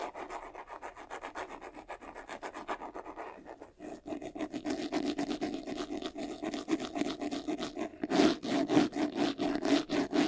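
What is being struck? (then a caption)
Faux-leather covered vanity case. Fingertips and short nails scratch quickly across the front and sides of a medium white, textured faux-leather covered vanity case, a hollow jewelry box with a handle and its lid closed. The rapid, steady raspy strokes carry a hollow boxy tone around 330 Hz. They grow louder and brighter over the final two seconds.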